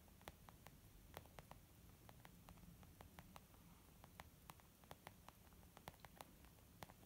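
Long nails tap across a white textured leather makeup bag, a zip pouch resting on a wooden table. The result is a steady, irregular series of short, dry, bright clicks that stop almost instantly, set over a quiet, constant low rumbling hiss.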